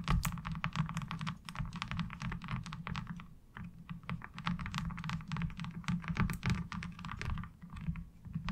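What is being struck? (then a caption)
Textured plastic washboard. Long acrylic nails tap and scratch across a light blue plastic laundry washboard with a diamond-textured surface. A quick, continuous run of dry clicks and scrapes has bright, brief ticks over a hollow low knock, and each tap dies away almost instantly.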